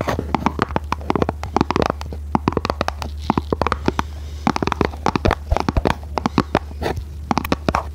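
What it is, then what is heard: Printed cardboard box. Long nails tap and scratch a small red printed cardboard box, making a rapid, irregular stream of short, dry clicks and brushing scrapes. The taps die away almost instantly, over a steady low hum.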